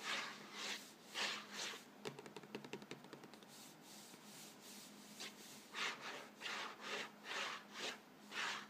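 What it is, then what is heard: Cardboard cracker box being scratched. Fingertips and nails scratch and rub the front panel of an upright Vegetable Thins crackers box, a hollow box of thin printed cardboard filled with crackers. Soft, bright swishing rubs come in rhythmic strokes, broken in the middle by a quick run of rapid, ticking nail scratches before the slow rubbing resumes.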